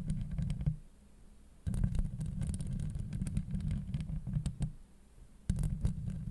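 Long acrylic nails on both hands scratch across a hollow steel mesh microphone grille, producing dense, boomy, low rumbling scrapes with faint crackly ticks on top. The scratching comes in three bursts separated by brief quiet pauses.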